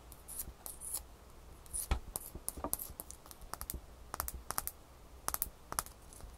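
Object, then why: Ice cube. A small, solid piece of frosty ice, held in the hands above a towel, is tapped and scratched with long fingernails. Quick, sharp clicks and brief bright scratches come in uneven bursts over a faint, steady low hum. Each tap dies away almost at once.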